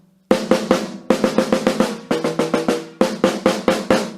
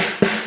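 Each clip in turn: First: Crisp, evenly spaced snare taps with a short bright buzz and a clear drum tone near 500 Hz, showing well-set wires. Second: A single tap on the snare's bottom head gives a low tone under a loose, hissy wire buzz: the snares are too slack.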